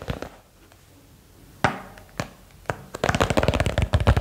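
A small box is tapped for ASMR: a few sparse, dry taps come first, then a rapid flurry of quick taps over the last second. The taps are short and dull with little ring and a low, thumpy body.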